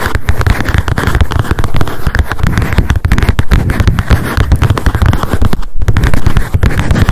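Long acrylic nails tap rapidly on the cardboard cover of a small pink spiral memo notebook lying flat. The result is a dense, continuous stream of short, dry clicks with a heavy low thumping body, broken by one brief pause near the end.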